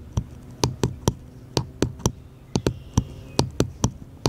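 Fingertips and nails tap a small, solid, unfinished light-wood bottle-shaped cutout held upright at the edge of a table. Fourteen short, dry taps in an uneven rhythm, each a dull low knock with a faint bright click on top that dies away almost instantly.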